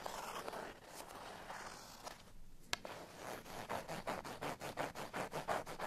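A cardstock bottle tag with a string is scratched with fingernails, first while lying on a surface and then while held in the hand. Dry, papery scratching rustles steadily, fades briefly and is broken by a sharp tick, then gives way to quicker, rhythmic bright scraping strokes that continue to the end.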